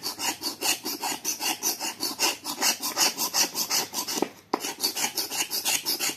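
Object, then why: Dried clay block scraped with a knife blade. A small knife blade scrapes a solid dried clay block held in the hand, piling clay dust onto a plate. The continuous, bright, gritty rasp comes in steady back-and-forth strokes, about 23 of them, with a brief pause just after the four-second mark before the scraping resumes.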